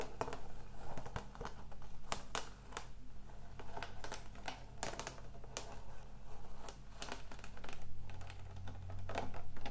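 Long acrylic nails tap quickly and irregularly on the label and body of a large clear plastic water bottle holding water, which has a blue and purple label and is held up in the air. The taps are short, sharp clicks with a light crinkle over a steady low hum.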